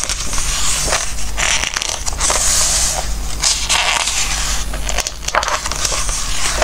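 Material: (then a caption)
Glossy paper. Fingertips rub and turn the glossy pages of a Christmas book, making a continuous crinkling and rustling with bright, papery texture. Short crackling bursts of page movement rise and fall over a steady low hum.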